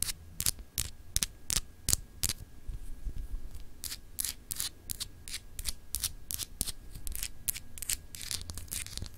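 Long acrylic nails scratch the textured, etched surface of a small solid clear glass globe paperweight. Quick, irregular strokes produce bright, crisp scratching bursts over a low background rumble and a faint steady tone near 1.6 kHz.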